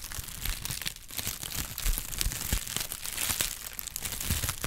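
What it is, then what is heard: Kraft paper wrap being crinkled. A flexible brown honeycomb kraft paper sheet is stretched, folded and crinkled by hand. It makes a continuous run of dense, bright crinkling and crackling with quick sharp snaps, over a low rustle from the handling.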